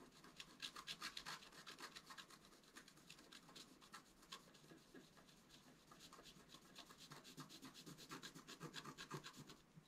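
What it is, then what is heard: Scratch art card being scratched. A wooden stylus scratches the black coating of a flat scratch art card (black coated paper) held flat with one hand, working first at the top and then in the middle. Quick, unevenly spaced scratching strokes come in a steady stream, bright and raspy with little low end, at a soft, fairly even level.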